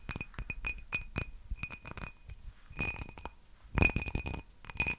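A small, hollow, empty faceted cut-glass tumbler is held in one hand close to the mic and tapped and scratched with long painted nails. The result is a run of quick, bright glassy clinks with a clear high ring that dies away fast, mixed with soft scratching between the taps.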